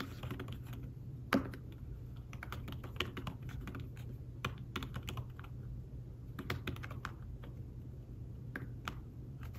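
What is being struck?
Fabric-covered tablet keyboard.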